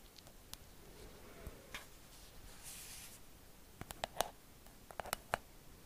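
A hollow, pink, cloud-shaped plastic night light is held in one hand while long acrylic nails on the other hand scratch and tap its surface. Soft, faint scratching gives way to sharp, clicky taps with a brief hollow ring and bright tips, scattered irregularly and clustering toward the end.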